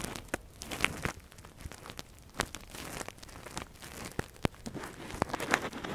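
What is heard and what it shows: A metal earpick scratches deep inside the canal of a silicone ear model while gloved fingers handle it. The result is close, quiet crackling and rustling scratches broken by sharp, bright clicks and crunches.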